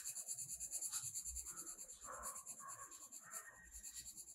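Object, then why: Colored pencil on a paper coloring page. A blue colored pencil is rubbed back and forth, shading across a page of a spiral-bound paper mandala coloring book lying flat. The result is a quiet, steady, bright scratchy sound, with rapid repeated strokes at roughly three per second.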